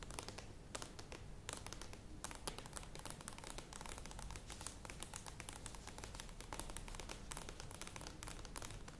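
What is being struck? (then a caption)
Plastic yogurt tub. Long nails tap quickly on the sides of a medium plastic yogurt tub standing upright. The result is a dense stream of light, bright clicks over a steady low background hum at a quiet level.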